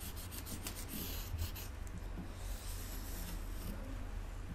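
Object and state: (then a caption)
Kinetic sand block rubbed with a wooden skewer. A wooden skewer is rolled and rubbed along the top of a solid rectangular block of pink kinetic sand under the fingertips, then drawn across its surface. The result is a steady, quiet, gritty rubbing with a soft low rumble underneath and a faint bright hiss.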